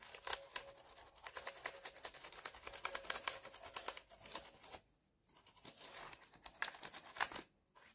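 Fingertips type on the exposed switch stems of a bare mechanical keyboard, its keycaps removed and plastic switches set in a metal plate, held on a lap. A rapid stream of sharp, bright, clicky taps with almost no low end fills the clip, broken by two brief quiet gaps near the five- and seven-and-a-half-second marks.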